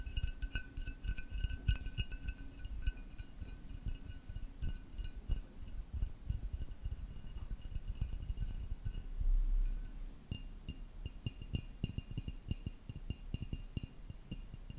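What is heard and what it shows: A tall, hollow black ceramic vase with a blue pattern is held and tapped with fingertips and nails, then tilted sideways. Quick, irregular taps give dull, low knocks with faint, bright ringing tones above them. Near the end a brief swelling rumble is heard before the tapping continues.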